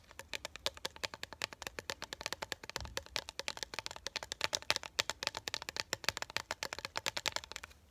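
Long acrylic nails rapidly tap across a small, flat Disney "Star Tours Grand Opening" collectible metal pin mounted on a printed cardboard backing card held up in one hand. The taps are a quick, steady stream of short, dry, bright clicks with almost no ring.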